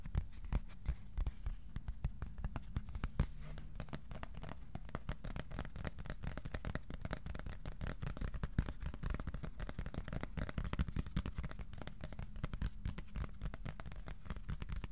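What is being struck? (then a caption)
Thin cardboard sheet. A thin, flat white cardboard sheet, about A4 size, is held upright in both hands and tapped with the fingertips. The result is a steady, dense stream of quick, dry, soft taps with a hollow low thump and almost no ring, occasionally punctuated by slightly louder strikes.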